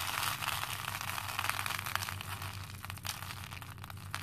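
Both hands scoop handfuls of small cream plastic faux pearl beads from a pink plastic bowl and let them trickle back in. The result is a steady, bright, crackling patter of tiny clinks over a faint low hum.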